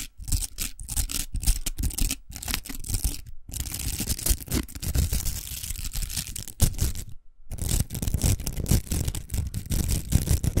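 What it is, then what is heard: Plastic velcro hair roller, scratched. Long nails scratch the velcro surface of a large, hollow pink plastic velcro hair roller. The result is a dense, rasping scratch with quick repeated strokes, strongest in the low end, with bright hiss above. It breaks off in short silent pauses, one near the middle and a longer one late in the clip.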